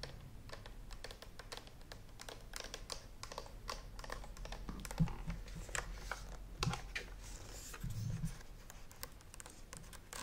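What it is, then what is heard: Plastic steam iron tapped with nails. Long nails tap quickly and lightly on the handle buttons and body of a hollow green and white plastic clothes steam iron held beside the microphone. The result is a steady run of dry plastic clicks and ticks over a low hum, with a few louder knocks in the middle.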